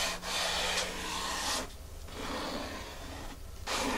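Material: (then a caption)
Foam. Long fingernails are dragged in a scratching, rubbing motion across a flat, solid, dark grey porous foam mat. A bright, hissing scrape runs loud for the first second and a half, drops to a softer, duller rasp, then swells loud again at the end.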